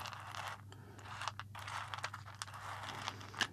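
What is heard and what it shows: Fingertips of both hands stir and rub through a small pile of loose, dry, whole roasted coffee beans on a white ceramic plate resting on a wooden table. The result is a continuous, bright, crunchy rustle of the beans shifting and clicking against each other and the plate, with a steady low hum beneath.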